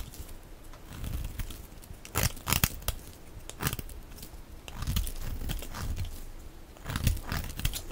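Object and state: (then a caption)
Soap bar being shaved. A knife blade scrapes and shaves thin flakes off a solid, dry, hand-sized lilac oval soap bar held in one hand. Soft, low rubbing alternates with sharp, bright crackling, crinkly bursts, loudest around the middle and near the end. Each scrape stops abruptly with no ring.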